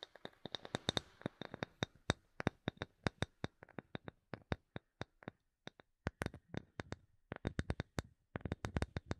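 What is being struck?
Small light wooden block.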